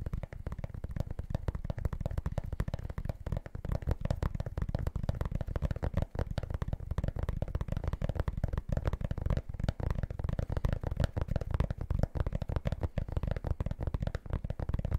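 Fingertips rapidly tap and scratch the rubber outsole of a sneaker held facing the mic, producing a dense stream of dull, low thumps with a scratchy texture. The sound is dark and muffled, with almost no high end and each tap dying out instantly.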